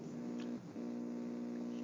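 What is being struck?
Nothing is struck.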